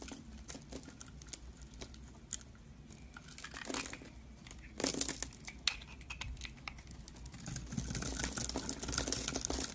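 A metal utility knife blade scores grid cuts into a solid rectangular yellow-and-white striped bar of soap held in one hand, then scrapes off small cubes and shavings. The result is a run of dry, bright scratching and crinkly carving strokes, with louder scraping bursts near the middle and end over a faint low hum.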